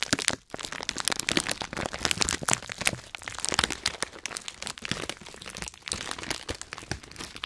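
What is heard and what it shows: A filled Hot Nuts snack bag made of metallized plastic foil is squeezed hard and crinkled in the hands, producing dense, bright cracking and crunching from both the foil and the nuts inside. The crackle runs almost continuously through the clip, with brief quiet gaps near the half-second mark and near 5.8 seconds.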